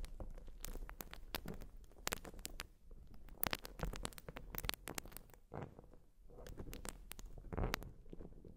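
A white urethane foam sponge is scratched and squeezed with long nails, giving quiet, dense crackling and soft squishing. Sharp, bright nail ticks stand out over a low, muffled rumble, with brief pauses between bursts of scratching.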